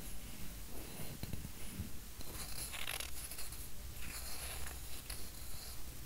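A flat, round, solid bamboo coaster about the size of a palm is held in one hand while the fingertips and nails of the other tap and scratch its surface. Soft, fairly steady scratching strokes and light taps repeat quickly, with a bright, dry rasp over a faint low hum. The sound stays quiet and close throughout.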